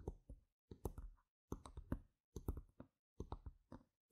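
Long red nails tap quickly on the faces of small, solid, round plastic game gem tokens lying on a mat, heard close up. The taps are short, dry, soft and low-pitched clicks that stop almost at once, coming in quick bursts of several taps separated by brief silences.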